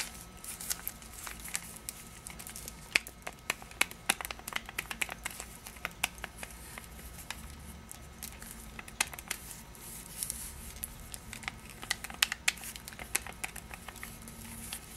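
Long patterned nails scratch and tap a small rectangular Pastiglie Leone cardboard candy box wrapped in printed paper, held in both hands, and crinkle its wrapper. The result is a quiet, steady stream of bright, crisp crinkles and sharp, dry clicks that stop almost instantly, over a faint constant low hum.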